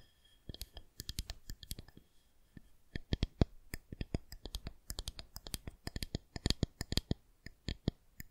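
Long nails tap and click on the smooth surface of a white plastic rolling pin. The clip is a rapid, uneven series of short, dry clicks, each with a soft low thump and a bright, crisp edge. The clicks are sparse at first and then come in quick clustered runs.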